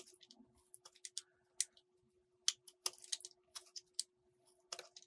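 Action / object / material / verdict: scrape / soap bar cut with a metal blade / soap / none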